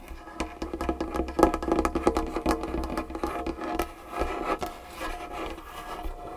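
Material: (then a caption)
Wood. Long fingernails of both hands rapidly tap and scratch across a large, solid dark-wood tabletop. The result is a fast, irregular run of short, dry clicks and knocks with a woody mid tone, mixed with soft scraping and a steady low hum underneath.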